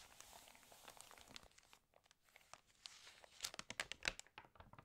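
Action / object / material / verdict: scrape / glossy paper magazine pages / glossy paper / none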